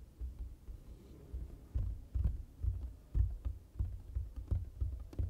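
One hand with long nails taps the flat surface of a large printed foam board sign with a white lower area, using its fingertips and nails. The taps are soft, dull, low thumps with faint light clicks on top, coming in an uneven run. Each tap dies away almost at once.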